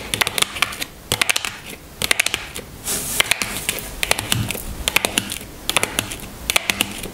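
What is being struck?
Small cardboard box holding a bar of soap.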